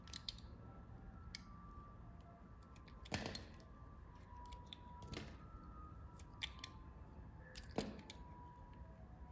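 A small metal blade shaves and carves curls off a solid, semi-translucent orange bar of soap, palm-sized and held in one hand. Soft, crisp scraping cuts sound at irregular intervals, with the strongest, brightest strokes near 3, 5 and 8 seconds. Fainter ticks fall between them over a quiet, low background rumble.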